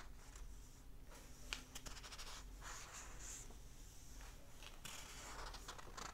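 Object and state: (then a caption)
Paper pages of a hardback book being scratched. Fingertips and short nails rub and scratch the printed paper pages of an open hardback book lying flat, then turn them. Soft, continuous papery scratching and brushing comes in bright, hissy bursts, with a brief sharper tick partway through and rustling as the pages turn.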